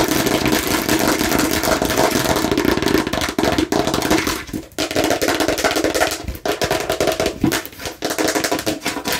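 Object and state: Plastic watermelon-slice container.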